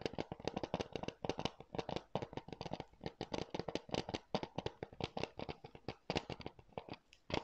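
Fingertips and nails tap and scratch a hollow, hard blue plastic NBA 2K PS4 keep case held in both hands close to the mic. A quick, steady stream of dry, clicky plastic taps is heard, each dying away almost at once, with a bright scratchy edge over a faint hollow knock. The tapping continues quietly and evenly for the whole clip, pausing only briefly near the end.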